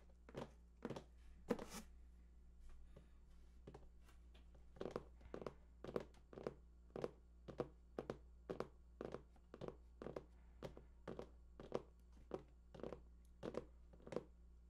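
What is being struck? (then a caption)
Large cardboard box. Fingertips tap the side panels of a large, hollow cardboard PS4 console box held at both sides, making a steady series of short, dry, hollow thunks. Each tap is centered around a mid pitch near 480 Hz with a brief bright edge and almost no ring, over a constant low hum.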